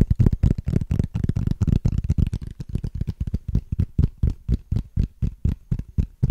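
Fingernails scratch and tap along the ridges of a small, hollow, transparent plastic case with a ridged texture. The result is a rapid, somewhat uneven run of short, dull, low-heavy taps and scrapes at about four per second, each dying away almost at once with little brightness.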